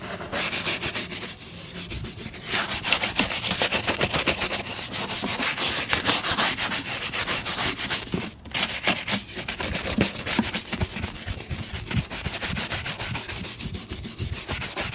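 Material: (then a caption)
Leather. A brown leather boot is buffed with fast strokes of a bristle shoe brush, producing a continuous, bright, high-pitched scratchy swishing. The rapid back-and-forth brushing carries on steadily throughout, with a brief dip around the middle before resuming.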